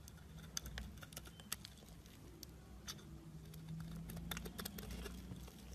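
A blade shaves curls off a solid pale green embossed soap bar held in the hand. Quiet, irregular crisp scraping ticks and bright clicks sit over a steady low hum, growing slightly denser toward the end.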